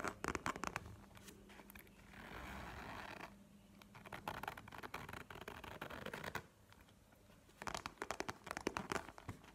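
A map-printed faux leather wallet, held horizontally, is tapped and scratched with long nails. Quick clusters of sharp, dry taps open and close the clip, with a steady, hissing scratch in the middle and lighter scraping and tapping in between.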